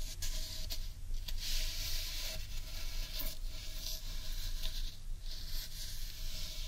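Long painted nails scratch the grainy wood on the underside of a large hollow carved wooden bowl. A steady, dry scratching patter runs through the clip over a deep low rumble, with brighter bursts of friction swelling and fading at intervals.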